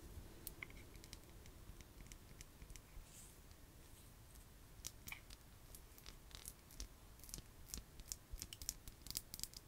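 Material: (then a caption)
Glass. A small ribbed glass jar, apparently full of a white substance and capped with a metal lid, is tapped and scratched along its ribbed sides by long nails. Quiet, dry clicks and brief scratching strokes come in irregular bursts, sharp and bright with almost no ring, over a faint low rumble, growing busier and a little louder toward the end.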